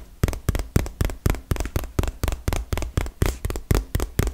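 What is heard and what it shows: Long fingernails tap rapidly on a small, hollow, printed cardboard retail box, making 17 quick, dull knocks at a steady pace. Each tap is a short, low-pitched thump with a faint bright click on top, and it dies away almost at once.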